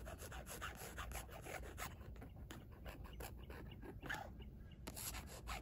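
Long nails scratch over a rigid, flat black carbon-fiber weave panel with a small embossed logo. The result is a quiet, steady run of quick, dry scraping strokes with bright, rasping edges over a low background rumble.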